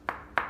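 Two sharp taps on solid ceramic kitchen floor tile laid on a concrete slab, each giving a short, bright click centered near 950 Hz that dies away quickly. The taps sound solid, not hollow.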